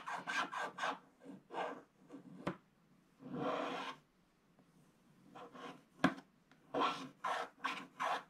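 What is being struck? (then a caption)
Coated scratch-art paper scraped with a wooden stylus. A wooden stylus scratches the black coating near the lower edge of a flat, coated scratch-art paper page in a scratch book, with the other hand resting flat on the left page. Quick dry rasping strokes come in bursts, with a longer scrape in the middle and a few sharp ticks. The sound is a soft, bright, papery scratching.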